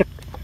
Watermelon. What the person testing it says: kalau yang masih mentah ini tidak nyaring seperti ini, suaranya dek dek, agak lebih padat